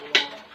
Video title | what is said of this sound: 99/- Shop guntur shop 24//transportation available🚚 vyshnavi market guntur | Break అనేది అవ్వదు. కింద పడేసి కూడా చూపించారు కదండి. ఇది కూడా అన్బ్రేకబుల్.